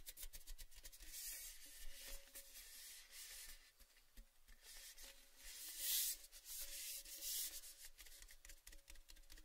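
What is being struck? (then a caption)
Metal gift tin. A tall orange-red cylindrical metal Baileys gift tin, hollow and empty with the bottle taken out, is held in both hands and rubbed and scratched along its side with fingertips and nails. The result is a soft, bright, continuous scraping hiss with scattered light taps and a faint metallic ring, swelling louder in strokes around the middle and later part of the clip.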